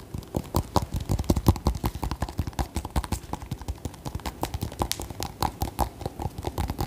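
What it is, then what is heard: Acorn squash, tapped. Long nails tap rapidly on the hard rind near the stem of a whole orange acorn squash held in one hand. The taps come as a quick, uneven stream of short, dry knocks with a deep, hollow low end and almost no ring.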